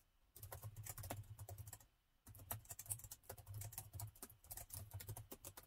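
Fingertips of both hands type continuously on the plastic chiclet keys of a metal laptop, producing quick, dry, bright clicks over a soft low thump. The typing stops briefly just before the 2-second mark, then resumes at a steady pace until the end.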